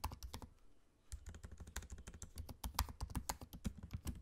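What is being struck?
Laptop keyboard with plastic keys.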